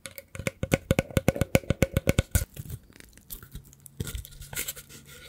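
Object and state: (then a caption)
Woven rattan basket. A hollow woven rattan basket is held in the hands and scratched with the fingertips along its edge and weave. A quick, steady run of dry, raspy scratching strokes, each with a faint hollow tone near 530 Hz, gives way to softer, sparser, irregular scraping and rustling.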